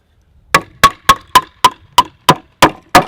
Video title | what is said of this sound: Sturdy Timber Framed Sawhorses | you can hear how much tighter that is